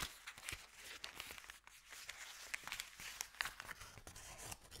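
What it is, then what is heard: Paper bag being crinkled. A thin, empty, crumpled white Subway paper bag is unrolled and flattened by hand. It makes quiet, dense, bright crinkling, with sharp crackling snaps scattered throughout and almost no low end.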